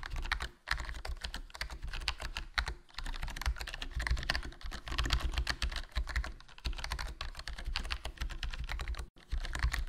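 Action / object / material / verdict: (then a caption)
tap / plastic membrane keyboard / plastic / none. Fingertips type continuously on a HyperX Alloy Core RGB plastic membrane gaming keyboard with a foam mod, a hollow black plastic case and black plastic keycaps. The keys make a dense stream of soft, short, low-heavy clacks with a thin bright top, broken only by brief pauses near 0.6, 2.8 and 9.2 seconds.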